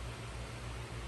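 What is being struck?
Nothing is struck.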